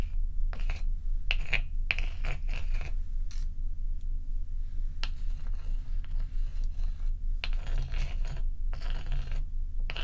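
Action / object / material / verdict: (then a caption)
scrape / large block of ice / ice / none. Fingertips and long acrylic nails tap and scratch a large, solid, bowl-shaped block of ice with a frosty top, resting on a black towel, with loose ice cubes sitting untouched at its edge. Bright, short clicks and scraping bursts come in irregular clusters over a steady low hum throughout.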